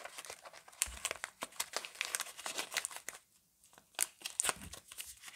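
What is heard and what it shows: A paper-wrapped Camay Natural soap bar is handled and crinkled with fingertips and long nails, making dense, bright crinkling and sharp crackles. After a brief quiet pause, the paper end flap is pulled open and torn, with louder, crisp tearing bursts.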